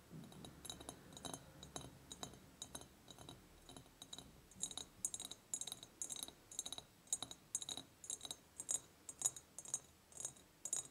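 Long painted nails tap on the sides of an empty, medium, ribbed clear glass jar with a ceramic lid. The result is a quiet series of bright, high glassy clicks and clinks in an irregular rhythm, each dying away almost at once. It starts as a soft, dense patter and gives way to sharper, more spaced-out taps.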